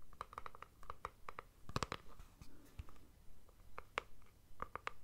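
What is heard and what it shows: A palm-sized rigid plastic Speed Stick deodorant tube, held in both hands, is scratched and tapped with fingertips and nails. About nineteen short, dry clicks come in a quick, irregular run, each with a hollow plastic tone near 1.2 kHz and no ring. Soft scratching and a low background rumble sit underneath.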